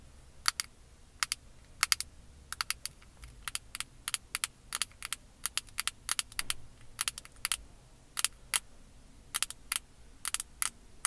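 Long acrylic nails tap and scratch a small, flat, square black plastic makeup compact, probably hollow, held close to the microphone. Dozens of sharp, bright, clicky taps come in an irregular rhythm, each dying away almost instantly. A faint scratching hiss fills the gaps over a quiet background.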